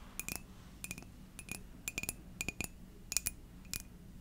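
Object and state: Ceramic coffee mug.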